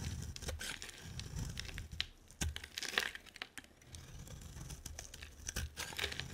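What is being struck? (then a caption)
Solid bar of soap scraped with a blade. A solid, hand-sized white bar of soap, held in one hand with long nails, is scraped with a utility knife blade, peeling off long white shavings. Dry, crinkly scraping and tearing textures run throughout, broken by sharp bright ticks and snaps with a low rumbling undertone. The strokes are quiet and close, each ending abruptly with almost no ring.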